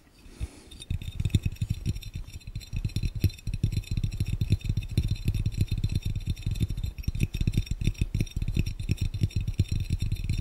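Fingertips of both hands tap rapidly on a clear, round, hollow, empty glass fishbowl, producing a dense stream of short, dull thuds with a deep body near 100 Hz and almost no ring. Faint steady high tones and other background noise sit underneath the fast, uneven tapping throughout.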